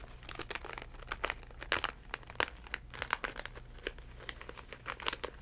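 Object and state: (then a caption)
Plastic floss pick package. A DenTek plastic floss pick package, a plastic pouch held in both hands, is squeezed and crinkled with the fingertips. Dense, bright crinkling and crackling comes in uneven bursts of sharp snaps that stop instantly. A faint low hum sits steadily underneath.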